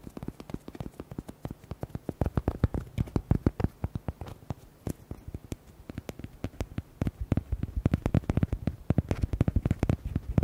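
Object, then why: Hollow rubber duck toy. Fingernails quickly tap and scratch a palm-sized, red hollow rubber duck toy. Rapid, dull, low taps with almost no ring mix with soft scratching that grows denser and slightly louder toward the end.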